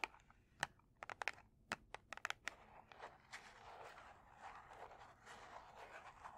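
A large red cardboard strike-on-box kitchen matchbox, closed and full of matches, is held in both hands and tapped and scratched with long painted nails. About a dozen quiet, sharp, dry taps with almost no ring come first, then give way to a steady papery scratching rasp with a bright edge that continues to the end.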